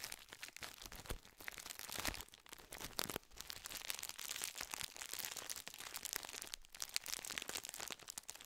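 A full gold plastic biscuit wrapper, held upright close to the microphone, is crinkled and rubbed with the fingertips. The result is a steady, dense stream of bright, crisp crackling and rustling with many tiny sharp snaps and little low-end weight.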